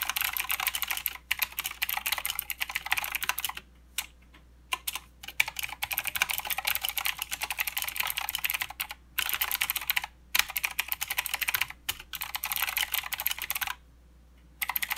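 Both hands type with their fingertips on a mechanical keyboard with plastic keycaps and blue switches. The result is a rapid, steady stream of sharp, bright clicks with almost no ring and no low end. The typing is broken by several short pauses, including a longer silence near the end.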